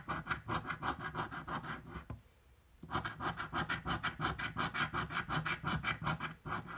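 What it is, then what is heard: Scratch-off lottery ticket being scratched. A metal coin scratches a thin purple paper scratch-off lottery ticket lying flat on a table and held down by hand. It makes rapid, rasping back-and-forth strokes with a dry, gritty texture, pausing briefly before the scratching resumes.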